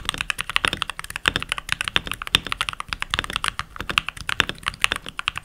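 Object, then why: Mechanical keyboard with plastic keycaps. Fingertips with short nails, rings on the fingers, type continuously on a full-size backlit mechanical keyboard with pink plastic keycaps. A fast, steady run of short, bright plastic clacks and clicks follows, each press snapping off almost instantly with very little low end.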